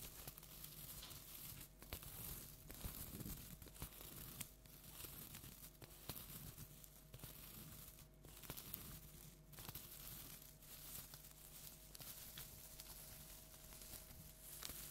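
A large orange plastic tinsel jack-o'-lantern decoration is scratched and rubbed with long nails. The result is a steady, quiet crinkling and rustling with bright tearing-like scrapes and soft crunches. A faint low hum sits underneath.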